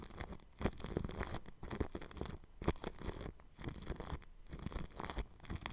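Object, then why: Plastic cling film stretched over a microphone grille. A bristle paintbrush brushes over clear plastic cling film stretched across a round microphone grille. It makes close, scratchy, crinkling strokes in uneven bursts separated by brief quiet gaps, with bright hiss on top and soft low thumps underneath.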